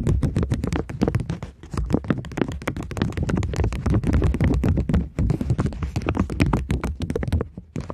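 Long nails tap and scratch across a polymer plastic £20 banknote, ending with the note held flat. Dense, irregular, short dull taps and scrapes follow one another rapidly, mostly low in tone with brief bright clicks and almost no ring.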